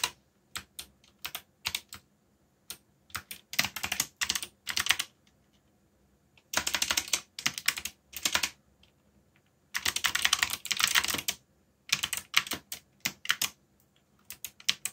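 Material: Plastic.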